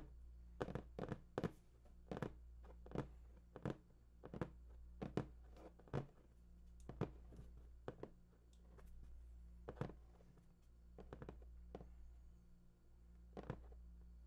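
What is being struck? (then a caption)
Large printed cardboard box. Fingertips tap and scratch the top surface of a large, hollow, printed cardboard PS4 box, making soft, dull, hollow thunks at an irregular pace over a steady low hum. Each tap dies away almost instantly, with faint scratchy rustles between the hits.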